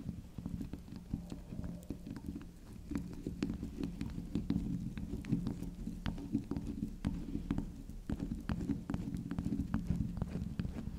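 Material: Soap.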